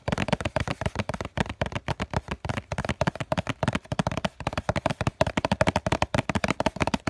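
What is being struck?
Cardboard tissue box.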